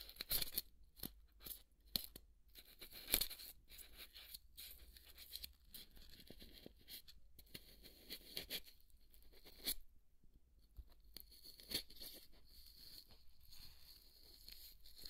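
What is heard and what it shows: A wooden toothpick scratches the flat cut surface of half of a large white polystyrene foam ball held upright. It makes quiet, dry, bright scratching and crunching strokes in short, uneven bursts with brief pauses between them.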